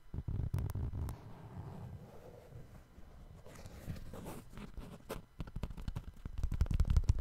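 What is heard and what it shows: Fingertips tap and scratch the side of the suede upper of a brown suede sneaker held sideways with its white rubber sole showing. Soft, dull, low thuds come in quick irregular bursts at the start and end, with quieter muffled scratching in between.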